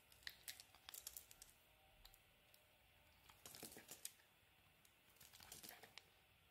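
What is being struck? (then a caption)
Bar of soap scraped with a knife blade. A solid cream olive soap bar, held in the hand, has its edge shaved and scraped with a utility knife blade. Quiet, bright, crisp scratching clicks and short rasps come in three bursts, with dry pauses between them.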